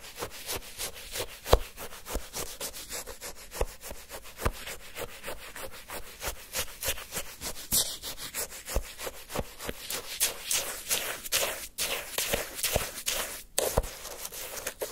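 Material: Ice.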